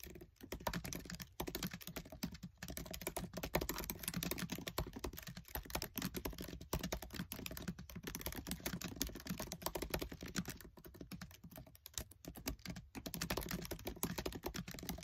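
Fingertips with short nails type fast on the black plastic keys of a MacBook Air keyboard set in an aluminium body. The result is a dense, steady stream of quick, dry clicks with very short ring and a soft low thump beneath the bright tapping, interrupted by only brief pauses.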